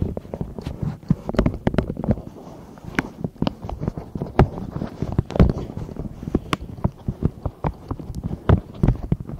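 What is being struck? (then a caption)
Silicone pop-it pencil case tapped and scratched with long nails. Long acrylic nails scratch and tap across the raised bubbles of a long, hollow, pastel silicone pop-it style pencil case held over the microphones. Rapid, dull, low thuds come with soft rubbery scratching, forming an irregular, close-up patter.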